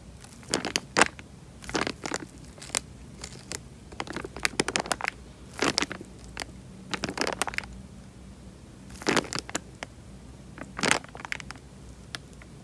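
Fingers squeeze a tied, clear plastic bag full of water, producing bursts of bright, crinkling crackles and sloshing squeaks. The crackling comes in irregular clusters separated by short quiet pauses, over a faint low background hum.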